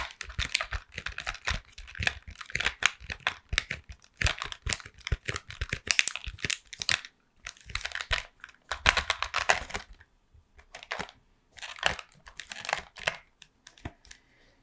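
A hollow Toffifee cardboard candy box, held upright, is tapped and scratched across its front with long painted nails. Quick, dry, crisp clicks and scraping crinkles come in dense bursts with short pauses, bright and high-pitched with almost no ring.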